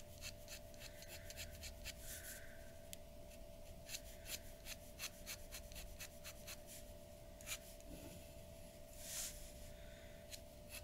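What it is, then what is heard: Pen nib scratching drawing paper. A glass dip pen's nib scratches short hatching strokes across a large flat sheet of white drawing paper resting on a wooden table. Quiet, bright, dry scratches and rubs repeat over a steady low hum, with a longer papery swish near the end.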